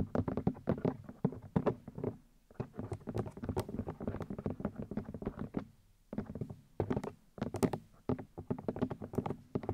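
Long nails and fingertips tap repeatedly on the white plastic ear housings of a 3Dio binaural microphone, tapping on the ear discs. Dense bursts of short, dry plastic clicks and soft thumps carry a low hollow body with bright nail ticks on top. Brief pauses fall around two and six seconds before the tapping resumes.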